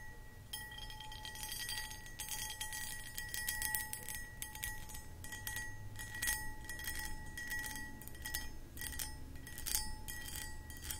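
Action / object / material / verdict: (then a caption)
scrape / cut crystal pedestal bowl / crystal glass / none. Long acrylic nails scratch and tap across the cut pattern of a medium, hollow, empty cut crystal glass pedestal bowl. A steady run of bright, crisp clicks and scrapes plays over a faint, sustained glassy ring and a low rumble underneath.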